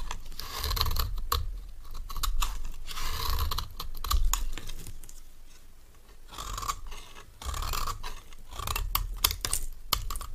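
A metal knife repeatedly shaves a solid, rectangular bar of dry cream soap. It makes crisp, bright scraping strokes in an irregular rhythm, with low thuds underneath and a quieter stretch near the middle. Each stroke ends abruptly, with no ring.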